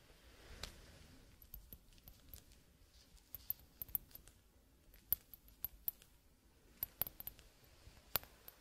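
A clear, hollow, hand-sized glass hourglass is held upright in one hand while gloved fingertips tap its upper glass bulb, with little sand visible inside. The quiet taps come as short, bright clicks with a faint high ring over a low, soft background hiss. They fall irregularly, some in quick clusters, across the clip.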